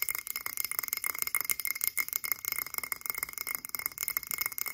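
A frosted blue glass cylindrical candle jar, held in both hands, is tapped quickly with long acrylic nails. The result is a dense run of bright, glassy clinks with a steady ringing tone near 2.1 kHz, each tap dying away almost at once.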